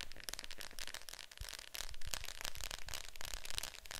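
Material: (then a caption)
Plastic. Long nails tap rapidly on the lid of a Fantasia VHS clamshell case lying flat, its hollow plastic body answering each tap with a dry, bright click over a low, hollow thud. The taps run in a quick, uneven stream, each one dying away almost at once.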